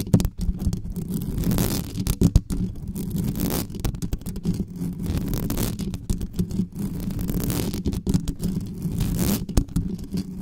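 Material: Metal mesh.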